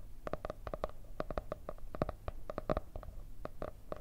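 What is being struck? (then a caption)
Cardboard hardcover notebook. A marble-effect hardcover paper notebook with a cardboard cover is held up to the microphones and tapped with long red nails. The result is a rapid, uneven run of dry, hollow clicks with a mid tone around 600 Hz that stop almost instantly, over a faint low rumble.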